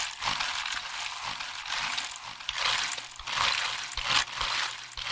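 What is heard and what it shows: Fingertips tap and press the keys of a hollow black plastic computer keyboard held up close to the microphone. The result is a fast, irregular run of bright clicky clatter with dense, crackling high end and little low body, coming in surging bursts.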